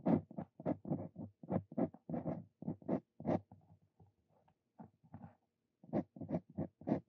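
A steel dip pen nib, a Brause Cito Fein, is held in a hand and writes on a sheet of paper, its nib scratching the surface. Quick, dry scratchy strokes come in bursts, with a quieter stretch of fainter marks before the strokes pick up again.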